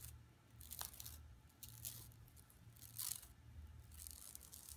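Long nails scratch across an empty, flat yellow woven plastic mesh tote bag lying on carpet. Quiet bursts of bright, dry scratching and crinkling rise and fade over a steady low hum.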